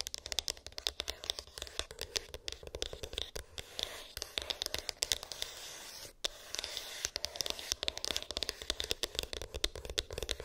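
Long pink acrylic nails tap and scratch a small, hollow white cardboard iPhone box with an embossed, textured lid; its contents are unknown. A dense, rapid stream of crisp, dry clicks and rasping scratches sits mostly in the bright upper range, with a tone near 3.6 kHz. The taps stop briefly around the six-second mark, and each one dies away almost instantly with no ring.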